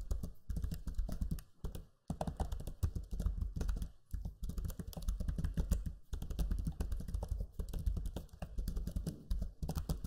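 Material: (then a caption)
Plastic. Fingertips type on the low-profile plastic keys of a backlit black Lenovo Legion 5 laptop keyboard. The result is a steady run of soft, rapid clicks and taps with a deep, muted thump under each press, broken by brief pauses near 2, 4 and 6 seconds.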